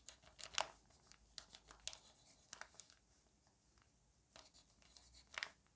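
A wooden pencil is drawn across the slightly crinkled pages of a thick lined paper notebook, writing short numbers and letters. About fourteen quiet, bright, dry scratching strokes come in quick bursts, with a lull in the middle before a few more strokes.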